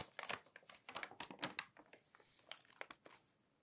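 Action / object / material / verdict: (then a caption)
scrape / glossy paper magazine pages / paper / none. Fingertips crinkle, rub and turn the pages of an open glossy paper magazine. Sharp, bright crinkles and dry rustling bursts come in quick clusters, then ease into a softer papery hiss. The sound fades out quietly with almost no ring.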